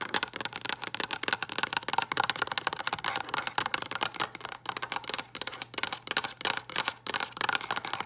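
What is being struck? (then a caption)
Frosted plastic storage box with lid. Long acrylic nail tips tap rapidly and continuously on a hollow, frosted translucent plastic storage box with a lid. The result is a dense run of sharp, dry clicks with a bright edge and a hollow tone around 900 Hz. A faint low hum sits steadily underneath.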